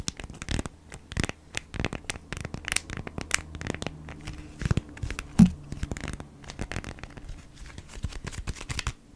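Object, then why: Beeswax-coated cotton wrap. A folded beeswax-coated cotton food wrap is scratched with long nails, giving a dense run of crisp, crinkly scratches and short papery tears with steady low hum underneath. It ends with the wrap laid flat and fingertips scratching across its surface, with one louder scrape just past the midpoint.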